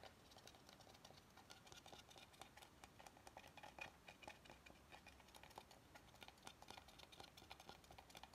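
Fingernails scratch and tap along the rounded edge of an oval solid wooden cutting board held horizontally. The result is a quiet, steady stream of rapid, dry clicks and scratchy patter, mostly bright with little low end. Each tap dies away almost instantly.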